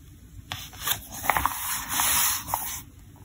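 Fingertips rub the glossy paper pages of a thick, open softcover trade catalog lying on a table, then lift and turn them. Bright, airy rubbing and swishing rises and falls, with a few crisp paper ticks as pages catch and flip.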